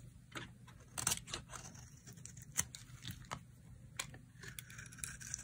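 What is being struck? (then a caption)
Bar of soap cut with a knife blade. A utility knife blade carves slices off a dry, solid white soap bar with a blue pattern, held in the hand. Quiet, bright, crisp scraping and crunching cuts come in short bursts, with a few sharper snaps standing out over a faint low hum.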